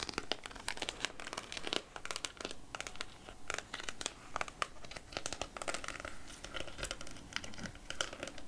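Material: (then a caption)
Plastic. Long nails tap on a small clear plastic cup full of peach chunks in syrup, giving a steady run of quick, bright plastic clicks. The taps come densely with a crinkly edge and die away almost instantly.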